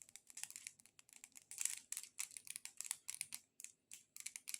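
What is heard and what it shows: A multicolored decorative corn cob is tapped and scratched with long nails. The result is a quick, uneven run of dry, bright clicks and short scratchy bursts with no low end, each dying away almost instantly.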